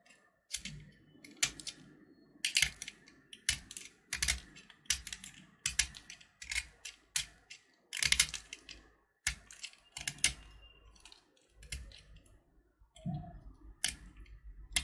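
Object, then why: Sugar-shell chocolate candy. A small, solid purple sugar-shelled chocolate button (Gems) is held between fingers while its shell is scraped and carved with a metal utility knife blade. Quick bursts of sharp, bright scraping and crisp crackling clicks repeat with short pauses between them. The sound is mostly high, dry ticking with very little low end.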